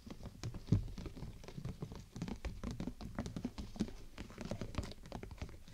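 Fingertips and long nails tap quickly across the top of a large, hollow, clear plastic bubble umbrella canopy held over the microphone. The rapid, uneven patter of soft taps produces dull, hollow thumps that are mostly low and boomy, with only faint brightness from the nails. Each tap dies away almost immediately.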